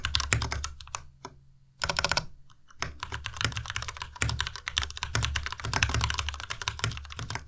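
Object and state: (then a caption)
Plastic mechanical keyboard being typed on. Fingertips of both hands type quickly on the keycaps of a white plastic Ducky Miya Pro tenkeyless mechanical keyboard with Cherry MX Red switches and RGB backlight. The result is a dense run of short keystrokes, each pairing a deep thock with a bright clack, broken by two brief pauses in the first three seconds.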